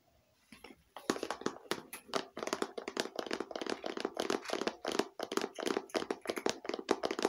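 A small, hollow, glossy red plastic case held in the hands is tapped with long painted fingernails. After a nearly silent first second, a rapid, continuous run of light, crisp taps follows, each with a short hollow knock around 400 Hz and almost no ring.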